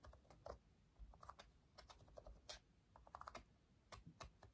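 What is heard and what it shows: Rubber buttons on a black plastic TV remote control are pressed and clicked rapidly with the fingertips while the remote is held above the table. The result is a quick, irregular run of short, dry clicks with bright, crisp tops over a soft, low background rumble.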